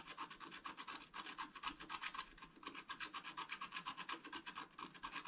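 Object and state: Scratch-art paper card being scratched.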